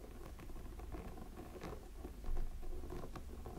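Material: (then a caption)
Silicone. Fingertips and nails scratch the textured silicone body of a small, hollow, glowing light-up snowman figure. The result is a quiet, soft patter of scratching over a steady low rumble, growing slightly louder a little past the midpoint.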